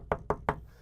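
Three quick knocks on a table, evenly spaced about 0.2 seconds apart. Each gives a short, dull thud centered around 400–500 Hz that dies away almost at once. A faint low hum sits underneath.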